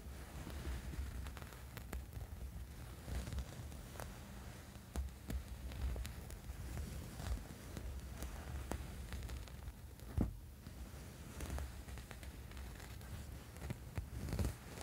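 A small, soft, padded black fabric sleep mask with a strap lies on a bed and is scratched with the fingernails of both hands. The result is a quiet, steady scratching and rustling over a low, throbbing hum, dotted with brief sharper clicks and crackles.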